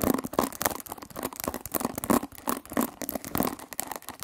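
A hand-sized oval hairbrush with a white plastic body and a cushion of metal pin bristles is scratched and plucked across the bristles with long nails. The result is a rapid run of short, dry scratchy plucks and crackles with brief bright edges. The strokes come in uneven bursts with no ringing between them.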